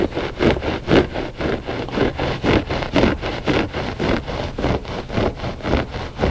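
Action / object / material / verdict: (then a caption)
scrape / loop-pile textile rug / textile / none. Short fingernails scratch a flat gray loop-pile textile rug, solid and soft, in steady back-and-forth strokes at about two per second. Each stroke gives a dry, brushy rasp, mostly in the low-mid range with a little bright hiss, and it stops dead with no ring between strokes.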